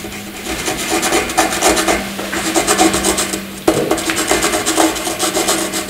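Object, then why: Graphite pencil on a paper sheet. A graphite pencil scribbles loops and squiggles across a flat white sheet of paper, making a dry, raspy scratching with bright hiss. The strokes rise and fall in quick uneven bursts, with a sharper, louder stroke midway, over a faint steady low hum.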